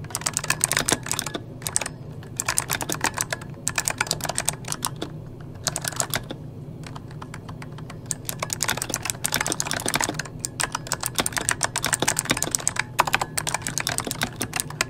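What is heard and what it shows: Fingertips of both hands type on an RGB-backlit mechanical keyboard with plastic keycaps, making rapid bursts of bright, dry, clacky key clicks that stop almost instantly. The typing comes in quick runs separated by short pauses, the longest around the middle, over a faint, steady low hum.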